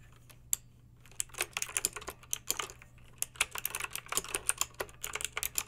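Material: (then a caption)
Plastic. Long pink acrylic nails type on a backlit plastic mechanical keyboard with round plastic keycaps. About 26 sharp, bright clicks come in quick, uneven bursts after a short quiet start, each dying away almost at once over a faint steady low hum.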